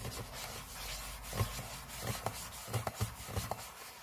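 Fingernails of both hands scratch and rub the thin, hollow aluminum lid of a closed MacBook resting on a table. A steady soft rasping carries a low, hollow body resonance, and several sharper scratch strokes pop out toward the end.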